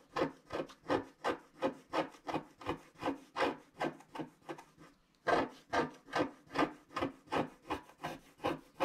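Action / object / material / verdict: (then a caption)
scrape / wax-coated scratch-art paper scratched with a wooden stylus / waxed paper / none. A wooden stylus scratches back and forth near the bottom of a flat scratch-art card of black wax-coated paper, with fingers spread on the sheet. About 25 short, dry rasping strokes come in a steady rhythm, with a brief pause near the middle. Each scrape is a papery, gritty rub centred in the mids that fades almost instantly.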